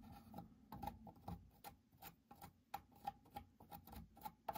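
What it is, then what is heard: Pine workbench beam. A metal pointed tool held in the fingers scrapes and digs at the knot hole in a solid pine 2x4-style workbench beam to remove the knot. The result is a quiet, irregular series of short, dry clicks and scratches with a faint woody ring around 800 Hz. The beam itself looks unchanged afterward.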